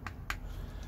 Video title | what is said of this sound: Benchmade Griptilian in Micarta - FAKE!!!! - PSA | you can hear it's hollow so it is lightweight but it has just I don't want to sound negative was a cheap feel to it